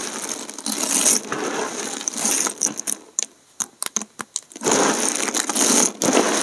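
Fingertips press and crush a pile of thin, hard, multicolored dried soap plate shards, and handfuls of the chips are sprinkled back onto the heap. Dense, bright crunching and crackling fill the start and end, with a quieter stretch in the middle of separate sharp clicks and ticks as individual chips snap and fall.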